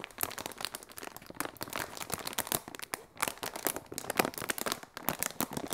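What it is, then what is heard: Polyethylene air cushion packaging. Large clear polyethylene inflatable air cushion packaging, hollow and air-filled, crinkled and squeezed by fingertips and long red nails. Dense, rapid plastic crackles and crinkles with bright hiss run continuously. Brief quieter gaps come near three and five seconds.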